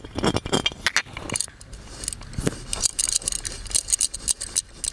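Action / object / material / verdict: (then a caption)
tap / embossed metal oil lamp / metal / none. Fingertips and nails tap and scratch the embossed relief of a hollow gold metal genie lamp, up close. Quick, irregular clicks and bright metallic ticks mix with soft scraping, and the hollow body adds a faint low thump under some taps.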